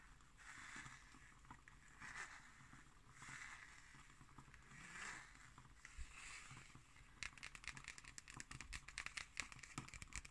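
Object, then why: Cardboard hardcover notebook with cloth spine. Long nails scratch the red cloth spine and cover of a black cardboard hardcover notebook in soft, breathy swells of bright rustle, then switch to quick, crisp tapping on its label. The taps are dry and short with no ring, and everything stays quiet throughout.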